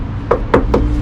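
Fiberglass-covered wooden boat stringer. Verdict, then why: Rotten. Three taps on a boat's fiberglass-covered wooden main stringer give short, dull knocks over a steady low hum. The sound shows that the wooden core inside the stringer is rotten, with rot holes visible and only the outer fiberglass laminate holding it together, so the old wood is to be cut out and pulled.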